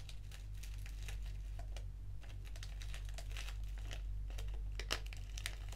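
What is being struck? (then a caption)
Foil-lined paper tea sachet. A small, flat, black foil-lined paper tea sachet of Organic English Breakfast is held and crinkled while long nails scratch along its edges. The result is a steady stream of dry crinkles and scratchy bright ticks over a low constant hum, with two slightly sharper snaps near the end.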